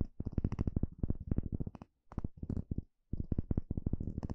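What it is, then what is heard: Bamboo bowl. A small, hollow, empty bamboo bowl is poked and scratched inside with a small plastic pick. The result is a quick run of dry, clicky taps and scrapes with a deep, hollow body, grouped into three bursts separated by brief silences. Each tap dies away almost instantly.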